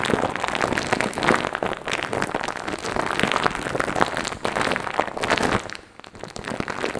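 Fingertips rub and scratch across a hand-sized, soft, light-blue fluffy foam or fur windscreen covering a microphone, the sound coming from direct contact with the cover. It produces a dense, continuous crackling and rustling with bright, brittle scratches over a soft hiss, briefly dropping quieter just before the end and then resuming.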